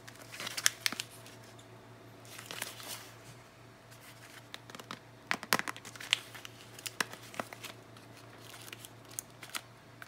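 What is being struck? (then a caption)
Cardboard soap box with a bar inside. A small green and white Dettol cardboard soap box, hollow with a bar inside, is held in both hands with long nails, turned and rubbed. Light, bright shuffling and crinkling comes in bursts of sharp clicks and scrapes, loudest near the start and in the middle. A steady low hum runs underneath.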